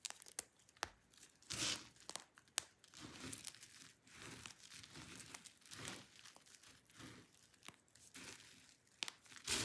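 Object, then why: Soap shavings. A hand digs into a heap of dry pink and white soap shavings and crushes the flakes with the fingers and fingertips. The result is a quiet, dry crunchy crumble of bright, high crackling and rustling, broken by sharp snaps throughout.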